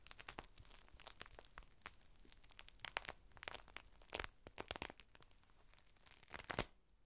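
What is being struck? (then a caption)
Thin plastic sheet. A thin clear plastic rain cover is unfolded as fingertips lift and peel its layers apart. It makes quiet, dense crinkling with sharp, bright crackles and brief tearing-like rustles. The bursts are louder near the middle and again just before the end.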